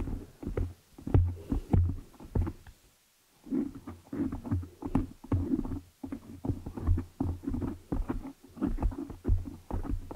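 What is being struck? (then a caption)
Foam microphone windscreen. Long nails on both hands scratch and tap the black foam windscreen covering a large desktop microphone head. The result is a dense, irregular run of deep, muffled thumps and scratchy rustles, heavy in the low end, with a brief silent pause about three seconds in before the tapping resumes.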